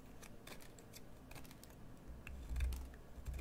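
A solid green bar of soap, held upright, is shaved with a metal carving knife. It makes a series of light, crisp scraping cuts with bright, brief ticks over a low rumble that swells toward the end.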